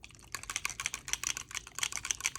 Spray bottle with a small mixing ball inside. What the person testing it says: you definitely want to make sure that that ball is moving around before you use it